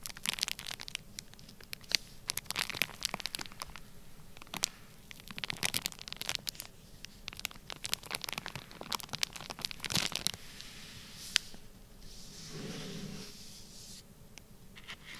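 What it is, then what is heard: Plastic bag of kinetic sand. Fingertips press and rub a flat, sealed, clear plastic bag full of orange kinetic sand, producing bright crinkling and crackling with many sharp, quick snaps of plastic. Near the end, the snaps give way to a softer, duller rubbing sound before the crackle returns faintly.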